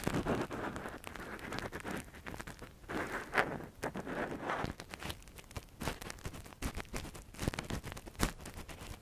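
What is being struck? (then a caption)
Silicone ear model on a binaural microphone, scraped with a thin metal pick. A gloved hand scratches inside the hollow canal of a soft, translucent silicone ear model (a binaural mic cover) with a thin metal earpick. It produces a dense, close run of crackling scrapes and short clicks with muffled, low-heavy rustling and occasional brighter ticks.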